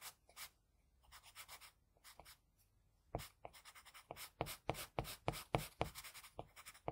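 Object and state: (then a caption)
Pencil scratching on drawing paper. An HB wooden pencil held in the fingers draws short strokes on the eye area of a flat sheet of white drawing paper resting on a hard surface. The graphite tip makes dry, bright scratching sounds in quick bursts. The strokes are softer and spaced apart at first, then come louder and faster in a steady run.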